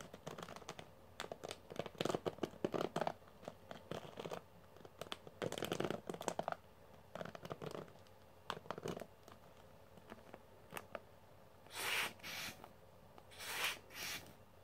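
Fingertips repeatedly flick and scratch the metal pin bristles of a pink plastic hairbrush, making quick bursts of dry, crackly scratching and ticking that are dense for the first nine seconds, then sparser. Toward the end come a few longer, brighter swishing strokes across the pins.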